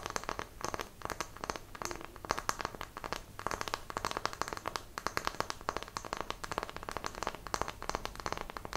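Long nails tap and scratch the faces of a small, solid, square, light wooden block held close to the microphone. Dense, dry clicks and scraping rasp follow one another with no ring, centered in the mid range around 1 kHz with some bright edges.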